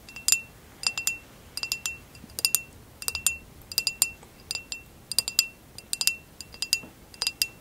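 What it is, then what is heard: Textured glass vase. An empty, hollow amber basket-weave glass vase, held tilted, is tapped and scratched with long acrylic nails. Quick clusters of bright, glassy clicks and light scrapes come in short bursts. Each rings briefly with a thin, high chime near 2.7 kHz over quiet background hiss.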